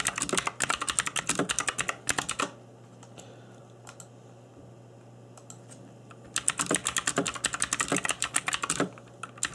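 Fingertips in black nitrile gloves type on a cheap RGB-backlit mechanical keyboard with plastic keycaps, producing rapid, irregular bursts of bright, short clacky key taps. The typing runs for about two and a half seconds, pauses into a quiet stretch with a low steady hum and a few scattered taps, then resumes in another fast burst until the end.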